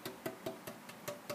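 The braced maple top of a jumbo guitar is tap-tuned before its braces are scalloped, with seven light taps each giving a short, woody knock centered near 650 Hz that dies away quickly. The tone is big, with a lot of high tone and upper mids, and the braces are to be shaved to bring out more bass and lower mids.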